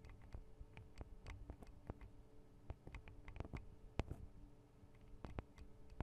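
Long acrylic nail tips tap on the tops of the thin metal guard arms over the microphone capsules of a Tascam DR-40 recorder. The result is a quiet, irregular run of sharp, dry clicks with short bright ticks and a soft low thump under each. The taps die away almost instantly over a faint low hum.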